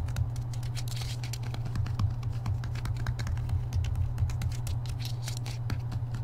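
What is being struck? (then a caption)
Paperback book with card cover. Fingertips and nails tap quickly on the glossy card front cover of a *Harry Potter and the Deathly Hallows* paperback held upright, its solid block of paper behind the cover. The result is a rapid, uneven patter of short, dry, bright clicks that die away almost at once, over a steady low hum.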